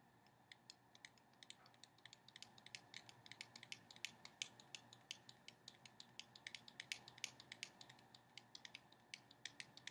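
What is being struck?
Small cardboard card box.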